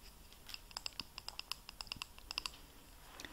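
Long painted fingernails scratch and tap along the flat side of a white-lacquered wooden carpenter pencil, flat and solid, held in both hands in front of a box of pencils. About seventeen quick, dry, bright clicks and ticks sound over a faint scratchy hiss, each one dying away almost instantly.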